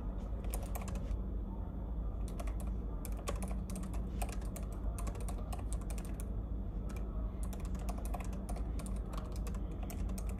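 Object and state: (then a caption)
Plastic laptop keyboard. One hand taps the plastic keys of a silver laptop keyboard with its fingertips in dense, continuous typing. Crisp, bright clicks run in quick irregular bursts over a steady low hum.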